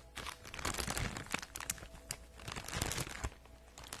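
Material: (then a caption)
Plastic. An empty-looking, soft, flexible teal printed plastic poly mailer shipping bag is held up and scratched and crinkled with long acrylic nails. Dense, bright crinkling and crunching plays throughout, with sharp scratchy spikes over a low rumble.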